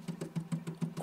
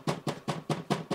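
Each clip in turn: First: firm metal printer panel, slightly hollow. Second: loose, rattling acrylic side panel.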